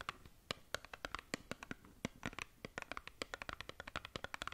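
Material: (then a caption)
Cardboard. Long nails scratch and tap across a small, hollow, printed cardboard skincare box. They make a quick, irregular run of about thirty short, dry clicks and scrapes. The hits are bright and crisp, with a papery tone around 1.4 kHz and little low end.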